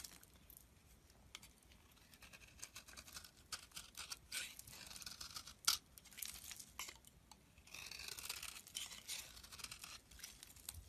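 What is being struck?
Bar of soap.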